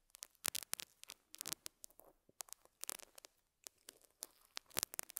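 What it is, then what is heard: Felt pad scratched with a metal pick. A metal dental scaler hook scratches and picks at a small square beige felt pad resting on a lapel mic. Around 25 quiet, sharp, bright scratchy clicks and pops come in irregular bursts, with almost no low end and no ring between them.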